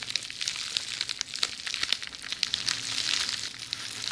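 A tube of rolled red plastic bubble wrap is moved from one side of the microphone to the other while long nails scratch and squeeze the bubbles. It makes a steady bright crinkling hiss with many sharp little pops and clicks scattered throughout.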